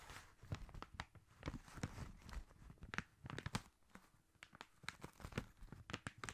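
Fingertips and short nails tap and scratch along a long gift-wrapped paper tube, covered in red Christmas wrapping paper and held horizontally in front of the mic. A quick, uneven run of crisp taps with soft, hollow low thumps mixes with papery crinkling and scratchy rustle. Each tap stops dead with no ring.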